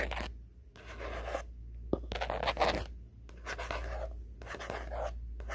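A black faux-leather hardcover diary with gold print, a solid flat book held up close, has its cover scratched and tapped with fingertips and nails. Soft, papery scratching and rubbing come in bursts separated by brief quiet gaps, with a few sharp, short taps standing out. A steady low hum runs underneath throughout.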